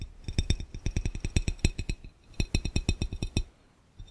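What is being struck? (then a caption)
Glass fishbowl. Fingernails of one hand tap quickly on a clear, round, hollow, empty glass fishbowl, making clinks. Each tap has a dull low thud under a bright, short ringing tick. The taps come in two fast runs, split by a brief pause near the two-second mark, and then fall quiet.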